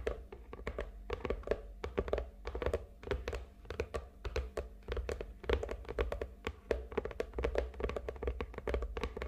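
Long nails tap rapidly and irregularly across the surface of a medium, hollow red and gold glitter cardboard gift box lying on a table. The taps make dull, hollow thunks with crisp clicky edges that die away almost at once. A steady low hum runs underneath throughout.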